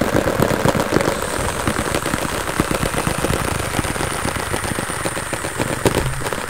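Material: Cardboard.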